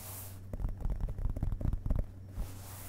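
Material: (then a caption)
Paper. An open hardcover book lying on a carpet, its solid block of printed paper pages tapped with the fingerpads of both hands. The soft, dull taps are low and muffled, falling in a quick, uneven run over about one and a half seconds. Each tap dies away at once over a steady low hum.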